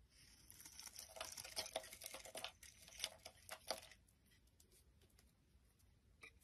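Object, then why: Bar of soap scraped with a knife blade. A utility knife blade shaves and scrapes a palm-sized, solid, translucent brown bar of soap held in the hand, sending curls falling off. Bright, crisp scraping and crackling strokes come in quick, uneven bursts for about four seconds, then fade to faint, light scrapes with one last small scrape near the end.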